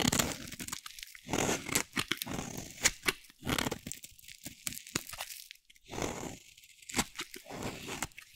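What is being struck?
Bar of soap shaved with a blade.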